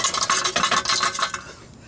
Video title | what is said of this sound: Cat convertor delete and new muffler on my Jeep Wrangler YJ #poweraddictscrew #jeepyj #jeepwrangler | there's a chunk of the cat like a burger inside there that's just rattling